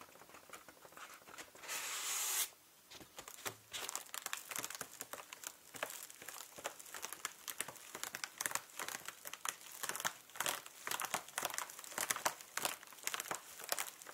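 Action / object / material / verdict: scrape / thin plastic food bag / plastic / none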